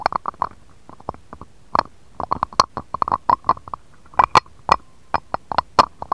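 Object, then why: Empty glass dish tapped with a stone roller. A jade roller is rolled and tapped across an empty, shallow, round, clear patterned glass dish, then lifted away at the end. Many short, sharp clicks and taps come in irregular bursts, each with a clear glassy tone around 1 kHz and brief bright flashes, and they die away almost instantly against a quiet background.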